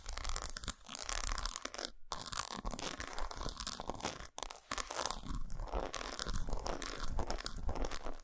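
Long acrylic nails scratch and tap rapidly across the patterned squares of an unwrapped solid dark milk-chocolate bar lying flat on a towel. The result is a dense, crackly, crunch-like texture of quick scrapes and taps across a broad range of frequencies. It runs nearly continuously, with brief pauses just after 2 seconds and around 4.3 seconds.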